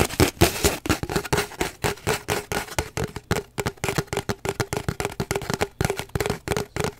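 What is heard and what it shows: An empty, hollow cardboard paper towel roll is held horizontally while fingernails rapidly scratch and tap along it. A dense, uneven stream of short, dry taps and scratchy strokes follows, each tap ringing briefly with a hollow tone around 344 Hz. The clicks fade almost instantly, with a bright, rough edge to the scratches.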